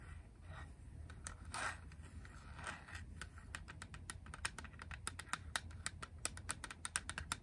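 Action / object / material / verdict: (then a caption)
tap / hard plastic game cartridge / hard plastic / none. Long acrylic nails tap the back of a small grey hard-plastic Game Boy cartridge, producing quick, sharp, clicky taps over a low background rumble. A few soft scratching swishes come first, then the taps speed up into a rapid, uneven patter that continues to the end.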